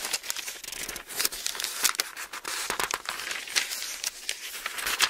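A dense run of quick, papery crackles and soft swishes fills the clip, all bright and high with nothing low underneath. Each sound dies almost at once. Fingertips are flicking and rubbing very thin book pages in a small quiet room.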